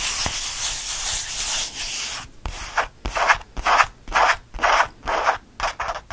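Fingertips scratch fast and hard at a small, flat, purple faux leather squeeze change purse with stitched seams, held in one hand over a fleece blanket. A steady, bright, hissing scratch runs for about two seconds, then breaks into quick rhythmic rubbing bursts at roughly two per second, with little low end.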